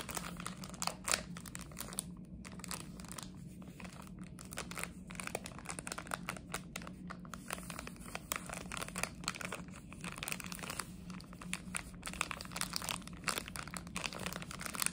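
A blue and white plastic chocolate frog wrapper is crinkled and scratched with long nails. Quiet, rapid, bright crackles and scratchy rustles run continuously over a faint steady low hum, each crackle stopping almost at once.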